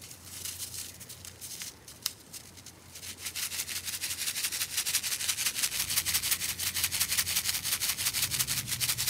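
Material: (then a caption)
Silica gel. A small white paper/fabric-like sachet filled with silica gel beads is held between fingertips and rubbed, squeezed and shaken, grinding the beads and crinkling the wrapper. A soft, bright, crackly rustle grows into a louder, steady rhythm of rapid gritty shakes, about three per second, that continues to the end.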